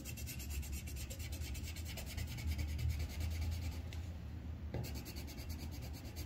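The tip of a green wooden colored pencil, held in the fingers, rubs and scratches across a thin white paper coloring sheet clipped flat to a solid board while coloring a leaf. The result is a continuous, dense scratchy rubbing with a low rumbling body and faint bright rasp that briefly thins out around the four-second mark before resuming.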